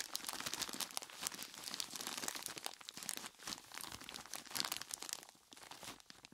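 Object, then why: Plastic bag of ice cubes. A large clear plastic bag full of ice cubes is gripped and squeezed by hands in skeleton-claw gloves. The result is a steady stream of bright crinkling and crunching with a faint low end. The sound is mostly quiet, with small swells around the middle and a fade near the end.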